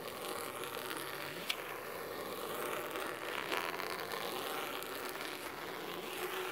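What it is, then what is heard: Cloth-covered hardcover book. Medium-long natural nails scratch the cloth top cover of a large, solid blue cloth-bound hardcover book lying flat on a wooden table. The result is a steady, crisp, dry scratching with a bright, hissy texture and little low end. A couple of sharper scrapes stand out briefly.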